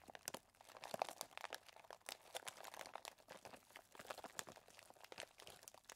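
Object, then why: Plastic zip bag of chocolate chips. Fingertips squeeze and press a clear plastic zip bag full of small chocolate chips. They make a steady run of quiet, dense crinkling and crunching with sharp bright clicks and almost no low end. Each crackle stops short with no ring.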